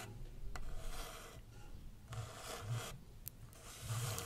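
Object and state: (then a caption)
Kraft paper coffee cup. Long red nails scratch and rub the side of a small, hollow brown kraft paper takeaway coffee cup with a lid and printed text, held in hand. Three raspy bursts of bright, noisy scratching are heard, separated by brief quieter rubbing, with a low hum underneath and a couple of sharp ticks.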